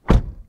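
A car door on a 2023 Toyota Corolla Cross Hybrid AWD is closed from the inside, giving a single deep, low-pitched thunk that fades within about half a second. The closing sounds solid.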